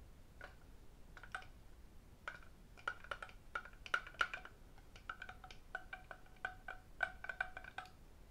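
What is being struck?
Lacquered wooden octagonal tray.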